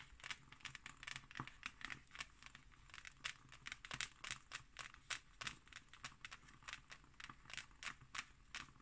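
Long nails scratch and tap across the embossed cover of a closed, thick hardcover book. The result is a steady run of quick, dry, crisp ticks and scrapes, bright and papery with almost no ring. The level is quiet, with a faint low hum underneath.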